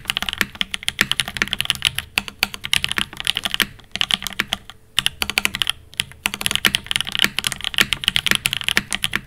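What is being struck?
Mechanical keyboard, aluminium case, ABS plastic keycaps.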